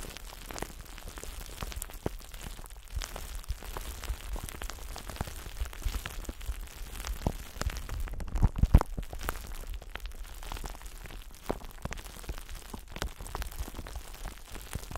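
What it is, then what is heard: Glass sphere. A transparent, palm-sized solid glass ball is held in both hands while long nails tap and scratch across its curved surface. Quiet, irregular, dry ticks and clicks run throughout over a low rumble. Around the middle comes a slightly louder cluster of sharper taps.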